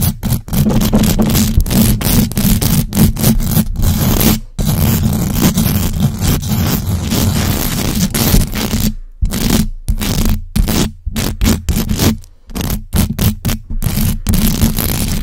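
Long acrylic nails on both hands scratch fast and hard across the hollow metal mesh grille of a large black USB microphone. The result is a dense, continuous rasping scrape with a heavy low rumble and bright crackle, broken by short gaps where the nails lift off.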